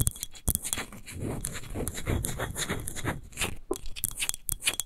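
Long nails rapidly tap and scratch the sides of a large, hollow, clear textured glass wine bottle near its label; the bottle stands upright and appears empty. The result is a busy, continuous rasp of quick scratches and dry clicks over a low, hollow body, with bright hissy edges and sharp taps that stop almost instantly.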